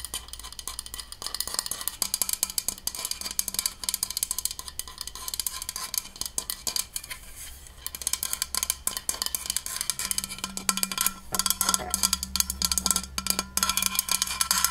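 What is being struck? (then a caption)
Powder-coated stainless steel water bottle. Long nails rapidly tap and scratch the body of a large white, powder-coated, insulated stainless steel water bottle, hollow and held sideways in a hand. The result is a dense stream of short, dry, bright clicks and scrapes with almost no ring, over a faint steady low hum.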